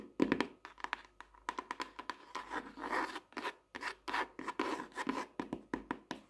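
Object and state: Softcover paper notebook.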